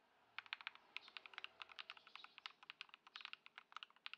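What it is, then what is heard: Plastic mechanical keyboard. A white Ducky One 2 SF mechanical keyboard, modded with Lumia Matcha switches and Poron foam, has plastic keycaps and sits on a dark mat on a wooden desk. Fingertips of both hands type on it continuously, making about 28 quick, crisp clacks. The clacks begin after a short quiet lead-in, have a bright tone centered around 2.4 kHz, and die away almost instantly.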